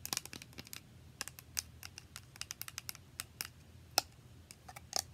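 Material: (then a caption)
Plastic. A small, translucent plastic spray bottle, partly filled and held sideways, is tapped quickly with long nails. Around two dozen short, bright, crisp clicks come in an irregular run, each dying away almost instantly over a faint low background rumble.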